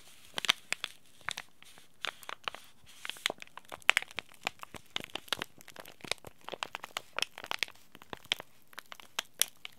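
A small green laminated plastic-foil tea bag packet is held in both hands and crinkled and rubbed with fingertips and short nails. It makes a steady run of sharp, dry, bright crackles and crinkles that stop at once, with almost no low end, over a quiet background.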